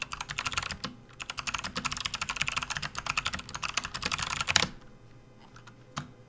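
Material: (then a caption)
Plastic. Fingertips of both hands type rapidly on a full-size plastic RGB backlit computer keyboard resting on a desk mat. A fast stream of short, bright clicking keystrokes runs for about four and a half seconds, with a brief pause near the one-second mark. It ends in near silence broken by a few faint taps and one sharper keystroke.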